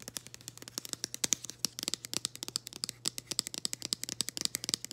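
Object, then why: Printed cardboard package scratched and tapped with long acrylic nails. Long green acrylic nails scratch and tap across the label and printed surface of a flat, floral printed cardboard package held in both hands. A rapid run of dozens of dry, crisp clicks and scrapes sounds bright and papery, each one cut off with no ring, over a faint steady low hum.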